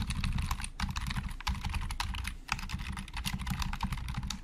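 Fast fingertip typing with both hands on a hollow, black plastic Logitech computer keyboard produces a dense, continuous stream of quick key clacks. Each stroke has a hollow, low thud under a bright plastic click. The strokes decay almost instantly, with brief lulls between bursts of keys.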